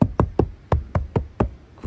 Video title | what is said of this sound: 理想の釣り車を求めてエブリィの天井を断熱する（デットニング） | ほら全然違うでしょこれで雨音もだいぶシャットアウトされるでしょう